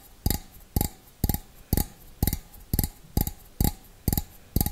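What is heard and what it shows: Fingernails tap the rim and outside of a small, hollow, empty stainless steel bowl held with its opening facing forward. Ten short, dull taps come in a slow, fairly even rhythm, each with a low-heavy thud and a faint bright click that dies away almost instantly.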